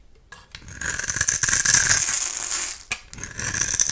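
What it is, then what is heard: Bar soap shaved with a blade. A metal utility-knife blade scrapes and shaves the surface of a solid, translucent orange oval bar of soap held in the hand, with other soap bars lying still nearby. The sound is a bright, dry, rasping scrape that builds into a sustained crackly hiss, breaks off briefly, then resumes in short strokes. Thin flakes of soap curl away from the bar.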